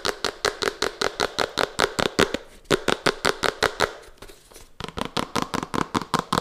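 A small, hollow Redmi smartphone box of red-to-purple gradient printed cardboard is held in the hands and tapped and scratched with long fingernails and fingertips. About 29 quick, crisp, dry taps with a slightly hollow tone ring out in a fast, uneven rhythm. A softer stretch of scratching comes between about 4 and 4.8 seconds before the tapping resumes.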